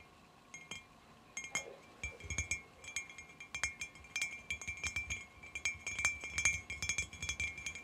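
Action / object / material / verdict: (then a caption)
tap / glass jar / glass / none. Long fingernails tap irregularly on the side of a clear glass cylinder jar lying on its side on carpet, hollow with dried flowers inside. The taps make a rapid series of bright, glassy clinks around 2.4 kHz, each ringing only briefly, with the tapping growing denser and louder as it goes on.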